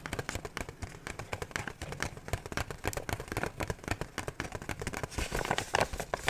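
A hollow medium kraft paper gift bag printed with red hearts is held up in both hands and tapped and scratched with fingertips and nails. The result is a quick, steady patter of dry, papery taps and crinkly scratches that stay fairly quiet, growing slightly sharper and brighter toward the end.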